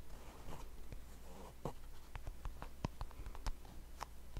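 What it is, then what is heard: Plastic hand cream tube. A small, white and yellow plastic hand cream tube that appears full is held in both hands, and fingernails scratch and tap along its surface. Soft, rough scratching runs under a series of short, sharp clicking taps. The sound is quiet, low-heavy and dry, with almost no ring after each tap.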